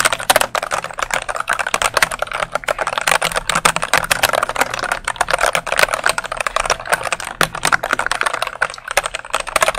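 A dark plastic mechanical keyboard held vertically close to the microphone is rapidly pressed and tapped on its keycaps with fingertips and nails. The result is a fast, dense stream of sharp, dry clicks and clacks, bright and mid-focused, with each tap cutting off almost instantly.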